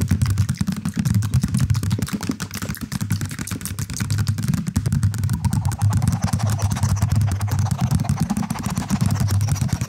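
A medium cylindrical knitted or crocheted cushion, beige with light blue ends, soft and stuffed, is held in both hands close to the mic and scratched and tapped with fingertips and nails. This produces a dense, irregular stream of rapid soft taps and scratches, dominated by a muffled low thumping with only faint brighter scratchy texture above it.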